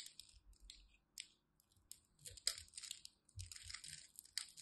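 A utility knife cuts through the scored surface of a solid, palm-sized, green striped glycerin soap bar held in the hand, and crunchy soap cubes crumble off. A quiet series of bright, crisp crunches and crackles follows, each short and dry with almost no ring, interspersed with faint low thuds.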